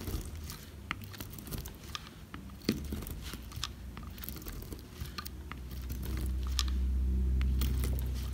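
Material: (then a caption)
Soap. A metal blade cuts many thin slices into a solid, dry oval bar of soap with a silver-painted surface and cream interior, held by fingers with long red nails. Crisp, rapid crunching and crackling clicks come at a steady rhythm over a low rumble. The rumble swells louder toward the end.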